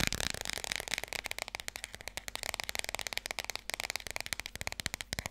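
A small, thick children's board book with glossy laminated cardboard pages, solid and held in both hands, is tapped quickly on its cover and spine with long red-painted nails. The rapid stream of crisp, dry clicks is bright and high with little low end, each tap dying away almost instantly, and no speech is heard.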